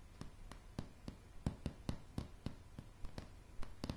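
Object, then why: Wooden floorboards. Long polished nails of both hands tap a light, solid wooden plank floor. Fourteen quick, dry taps land at an uneven pace, each a short low knock with a brief sharp click that dies away almost at once. The taps sit over a faint low hum.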